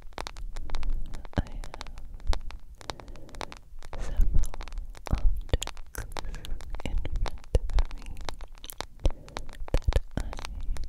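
A smartphone with a glass screen in a solid yellow plastic case is held up and tapped and scratched with long nails. Rapid, dry clicking taps mix with low, rumbling scraping, loud up close, and each tap dies away almost instantly.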